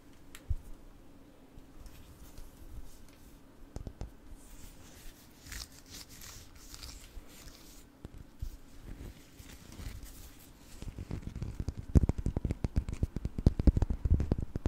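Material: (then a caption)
Rock salt. A palm-sized solid orange Himalayan rock-salt block is held in both hands and tapped with long painted nails. Soft, scattered clicks and faint scratchy rustling come first. After about 11 seconds they give way to louder, rapid, irregular tapping with short, dull, low-heavy knocks that die away almost at once.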